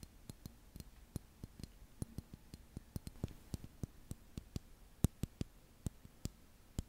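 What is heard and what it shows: A small blue liquid-filled glass facial cooling globe with a handle, held in both hands, is tapped and scratched with long manicured nails. About 25 short, sharp glassy taps and clicks come at an uneven pace, each ending almost instantly. Between them, faint scratching sits over a low, quiet background.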